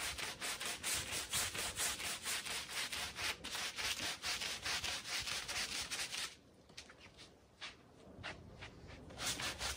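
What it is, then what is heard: Woven pile rug being scrubbed. A green push broom scrubs across a small, wet, red fringed Persian pile rug (a wool-type woven textile) lying on a tiled floor. It makes a rapid, steady run of bright, hissy, rasping strokes, roughly two per second. Around six seconds in, the strokes turn softer and quieter for a moment, then build back to full, vigorous scrubbing.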